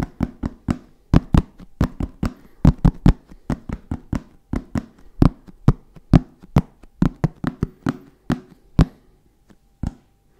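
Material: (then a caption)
Fabric, hard shell. Fingertips tap and knock on a hollow black fabric-covered hard-shell zip case. About 30 short, dry, hollow knocks land in a loose, uneven rhythm, each low and thuddy with a brief bright click on the attack and almost no ring. The taps thin out toward the end, with a pause before one last knock.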